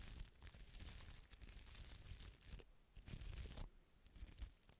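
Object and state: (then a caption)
Textured glass bottle being scratched. A small hollow red glass bottle with a sparkly textured surface, held in one hand, is scratched with a small bristle brush and long red nails. The result is a quiet, steady, bright crackling scratch with a low rumble underneath, broken by brief pauses near the middle.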